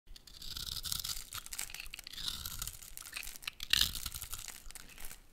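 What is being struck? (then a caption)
Bar of soap. A metal utility blade scrapes and cuts into a solid, hand-sized orange soap bar with a dark outer layer, held in one hand, shaving off small cubes and flakes. Steady, bright, crisp scraping and crunchy tearing strokes run throughout, with the sharpest cut coming near the end.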